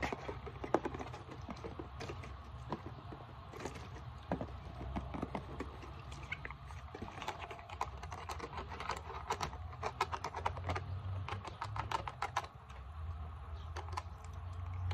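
Long painted nails tap rapidly on the body and near the cap of a translucent plastic isopropyl alcohol bottle with a blue label. The result is a dense, irregular run of short, sharp clicks that stop almost instantly, heard over a steady low hum throughout.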